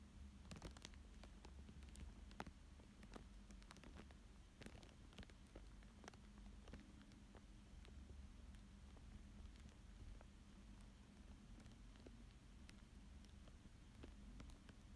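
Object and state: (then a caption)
Plastic film over paper, traced with a stylus. A thin dark stick-like tool traces and scratches lines on a thin clear plastic sheet laid flat over a coloured fish drawing on paper. Quiet, scattered sharp ticks and soft scratchy crinkles with brief bright edges sit over a steady low hum near 200 Hz.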